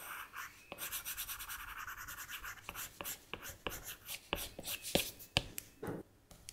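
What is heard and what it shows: A plastic Apple Pencil tip rubs back and forth on the flat glass touchscreen of an iPad while blending. This makes a quiet, rapid, bright scratchy swishing in quick rhythmic strokes, broken by a few sharper tip taps toward the end.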